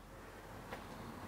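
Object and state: Nothing is struck.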